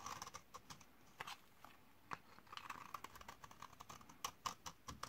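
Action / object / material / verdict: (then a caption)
scrape / laundry soap bar scraped with a metal blade / soap / none. A metal blade scrapes the end of a solid white bar of 72% laundry soap from 2012, dried for 8 years and held in hand, shaving off powdery flakes beside a pile of shavings. It makes a quiet run of short, dry, crackly scratches and ticks with a bright, brittle edge that die away almost instantly.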